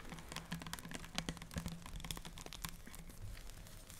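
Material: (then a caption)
Plastic. Long dark-painted nails tap quickly and irregularly on a clear plastic micellar water cleanser bottle with an orange cap, about 400 ml and full of orange-tinted liquid, held in both hands. The result is a stream of sharp, dry, bright clicks that sound like typing, over a faint low steady hum.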